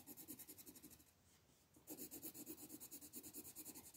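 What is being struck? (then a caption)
Colored pencil on paper page. A teal colored pencil rubs and scratches across a paper coloring book page on a table, shading in rapid strokes near the stones. Bright, papery scratching pulses come in quick rhythmic strokes over a soft low-mid body, with a brief quieter lull in the middle before the strokes resume.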